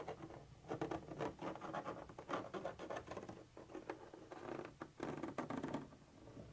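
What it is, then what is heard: Scratched textured plastic surface. The pointed tip of a black pointer scratches and taps a white textured plastic surface, apparently part of a hollow container wall with a molded ridge. Quiet, dense, rough scratching and light patter come in uneven bursts, centered in the midrange with little bass or bright top. Each sound dies away almost at once.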